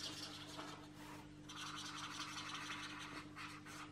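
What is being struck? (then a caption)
Marker tip on a paper page. A marker tip is rubbed and scratched rapidly back and forth over the paper page of an open paperback coloring book lying flat, with the other hand steadying the page. The result is a quiet, bright, papery scratching in uneven bursts, with a brief lull near the middle. A steady low hum runs underneath.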